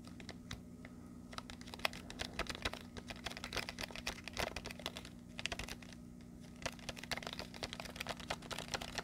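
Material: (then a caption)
Plastic. Fingertips and nails rapidly tap and scratch a hand-sized blister pack of markers, a clear plastic shell on a blue cardboard backing, held close to the mic. The result is a dense run of crisp, bright plastic clicks and scratchy ticks over a faint steady low hum, with brief quieter gaps near the start and around the six-second mark.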